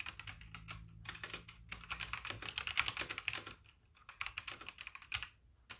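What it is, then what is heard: Plastic mechanical keyboard. Both hands type rapidly on a full-size backlit mechanical keyboard with white plastic keycaps, producing a dense run of short, bright clicks and clacks that crowd together. The typing briefly slows and quiets near the end before a final few keystrokes.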